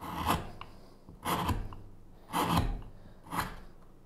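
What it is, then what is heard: Wooden spoon blank being carved. A small gouge scrapes and hollows the bowl of a solid, pale wooden spoon blank lying flat on a cutting mat. There are four separate dry, rasping strokes, each a short burst of bright scraping over a low thud, with quiet pauses between them.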